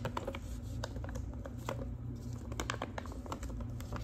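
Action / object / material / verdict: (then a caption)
tap / manila paper envelope / paper / none. Long pink acrylic nails tap and scratch across the surface of a large, thin, flat manila paper envelope. Quick, light clicking taps mix with dry, papery scratching over a steady low hum.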